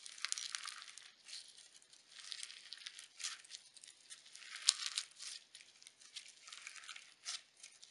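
A small lump of pink sequin slime is squeezed and folded by fingertips with painted nails. The result is a continuous run of crunchy, crinkling crackles. The sound is almost entirely high and bright, with no low end and occasional sharper snaps.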